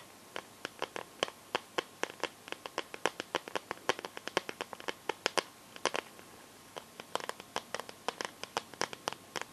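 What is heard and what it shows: Long nails tap and scratch the back and sides of a smartphone in a clear plastic case filled with liquid glitter. About fifty short, dry, bright clicks come in quick, uneven bursts over a quiet background, with faint scratchy crackle between them. Each tap dies away at once with no ring.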